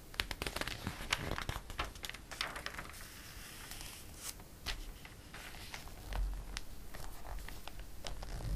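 Fingers grasp and flip a page of a glossy paper catalog, then fingertips rub across the paper. Sharp, bright crinkles and snaps come first, followed by a softer, steady swishing rub, with more crackly page handling toward the end over a low rumble.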